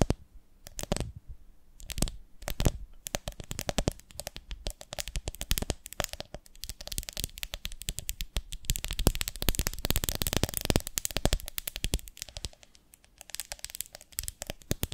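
Long nails rapidly tap and scratch the sides of a medium, ribbed, beehive-shaped glass jar with a lid, full of honey. A few separate sharp clicks open the clip, then a dense run of quick, bright ticking and scratchy crackle follows. It eases briefly near the end before picking up again.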